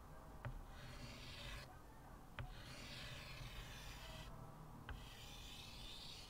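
A short white piece of chalk held in the fingertips is rubbed and scratched in long curved strokes across a flat blackboard in a wooden frame. A steady dry, raspy scraping with bright hiss runs throughout. Three small taps mark where the chalk meets the board.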